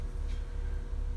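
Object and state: Nothing is struck.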